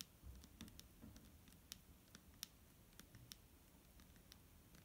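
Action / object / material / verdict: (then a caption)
tap / plastic bottle filled with liquid / plastic / none. A clear plastic micellar water bottle filled with liquid is tapped with fingernails. The result is a quiet, irregular run of sharp, bright clicks that die away almost instantly, over a soft low rumble.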